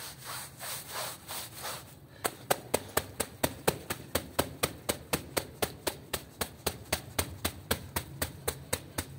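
A small, light-colored, soapy woven rug lying on a terrazzo floor is scrubbed with a long-handled broom with green plastic bristles. It opens with about two seconds of slower, broad, wet swishing strokes, then breaks into 29 quick, evenly spaced, sharp scrubbing strokes with bright bristle rasp.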